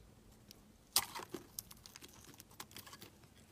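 A utility knife blade carves and scrapes a solid pale blue bar of soap, taking off chunks and shavings. One sharp, bright crunch of the cut is followed by a run of quieter, crisp scraping ticks and crackles, mostly high-pitched with almost no low end.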